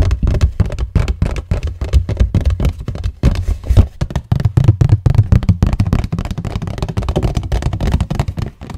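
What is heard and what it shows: A hollow cardboard tissue box with a floral print and a plastic-film opening is held near the microphone while fingertips and nails tap quickly across its cardboard surfaces. The rapid, dense taps sound deep, soft and hollow, with a low boomy thump and almost no bright edge, each dying away almost instantly.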